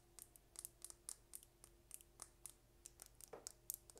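Long red nails tap and scratch a small, slim dark purple plastic lip gloss tube with a gold cap, hollow with gloss inside, held close to the microphone. About seventeen quiet, sharp, bright clicks come in an irregular rhythm over a faint steady low hum, each dying away almost instantly.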